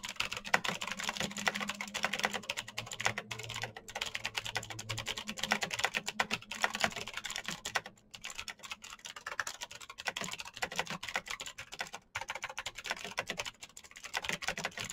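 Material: Plastic.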